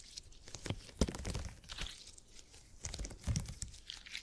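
A purple open-grid gel cushion made of hyper-elastic polymer is stretched wide and squeezed by fingers, giving soft sticky crackling and tearing-like squishes with dull low thumps. Bursts of bright crinkly detail come and go between quieter moments, each squeeze ending quickly with almost no ring.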